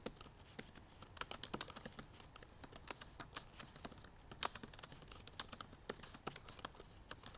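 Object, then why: Laptop keyboard with plastic keys. Long purple nails type quickly on the black plastic keys of a silver aluminum MacBook Pro laptop. A rapid, uneven run of short, dry, bright clicks and taps comes with almost no ring, plus some faint nail clicks in the high range.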